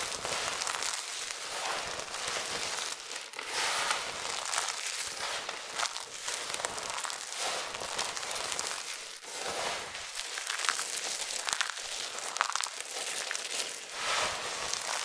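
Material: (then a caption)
Soap. Starch-dusted fingers spread flat on a pile of thin, dry amber soap flakes, raking and rubbing through them. The result is a continuous, dense crackling and crinkling rustle, bright and high with almost no low end, swelling and easing with each pass of the hand.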